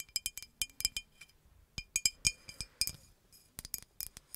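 Long nails tap a hollow green glass bottle with a red cap, giving quick, bright glassy clinks with a clear ringing tone around 2.4 kHz. The taps come in irregular bursts with short pauses between them, each dying away almost at once.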